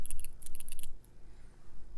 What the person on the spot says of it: it has a little steel ball in there